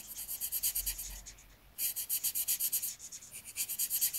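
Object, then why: Paper sheet rubbed with a marker tip. A marker tip held in the fingers rubs back and forth across a thin white paper sheet with outlined letters, filling in a letter while the other hand holds the page. The rapid, even strokes make a bright, dry scratching hiss that pauses briefly near the middle before resuming at the same rhythm.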